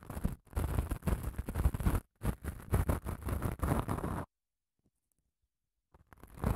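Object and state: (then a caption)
Padded emery nail file. Long nails scratch along a long grey padded emery nail file with grit, held diagonally close to the mic, making dense, rough scraping bursts with a heavy low, thumpy body. The scratching runs in strokes with brief pauses, stops into near silence for over a second, then starts again.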